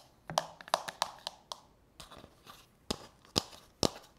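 Long natural fingernails tap and scratch the outer wall and rim of a medium-size, hollow, frosted translucent plastic manicure bowl resting on a countertop, apparently empty. A series of sharp, separated clicky taps with a hollow mid-high tone is heard, each dying away almost at once, with softer scratchy brushing in between.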